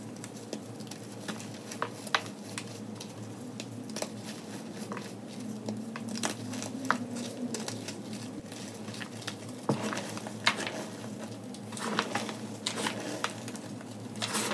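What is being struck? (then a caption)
Gym chalk block and powder. Hands squeeze and crush chunks of a solid rectangular gym chalk block and scoop loose chalk powder in a white plastic tub, the powder crumbling down. Dozens of short, dry crunches and crackles with a soft patter run throughout, some sharper snaps standing out above a steady low hum.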